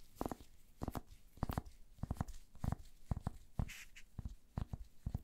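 A wooden paddle hair brush with pin bristles and a solid wood handle is held in gloved hands while fingertips and nails scratch and brush across the bristles. The result is a run of quick, dull, low scratching bursts, each with a faint bright crackle on top. The bursts come in irregular clusters separated by brief quiet gaps.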